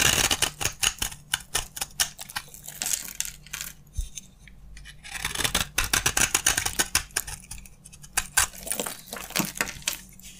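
A utility knife blade carves crunchy flakes off a solid green bar of dry soap, producing dozens of rapid, crisp scraping crunches with a bright, dry sound and almost no ring. The cuts come in quick bursts, ease into a quieter stretch around the middle, then pick back up.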